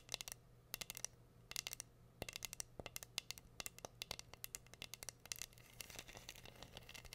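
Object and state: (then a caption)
Rhinestone-covered wooden board. Long green nails scratch and tap across a flat, solid, hand-sized heart-shaped wooden board held upright and covered in glued-on pink rhinestones. Rapid bursts of sharp, bright clicks and ticks come in quick clusters, each dying away almost instantly. A faint steady low hum sits underneath.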